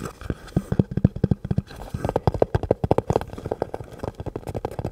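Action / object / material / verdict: tap / rubber and plastic gas mask / rubber, plastic / none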